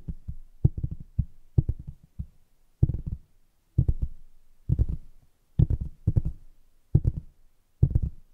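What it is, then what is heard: Cardboard box tapped with nails. Long acrylic nails tap rapidly on the top of a large, flat, printed cardboard lid from a keyboard kit box, which is hollow. The taps fall in quick clustered bursts separated by short pauses, giving dull, hollow, low thumps with almost no brightness and very little ring.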